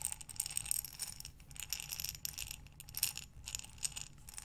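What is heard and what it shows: A glass mason jar with a metal lid, filled with small buttons, is held sideways and rolled in both hands. The buttons clink and rattle against the glass in quick, bright, short clicks that come in uneven waves, with a faint low rumble underneath.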